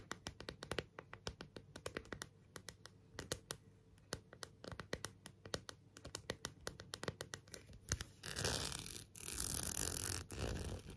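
Long nails tap and scratch the plastic back of a thin, hollow, transparent plastic phone case with a rhinestone border, held in the hands. For about eight seconds, quick, light, clicky taps come in uneven bursts. They then give way to a steady, brighter scratching that continues to the end.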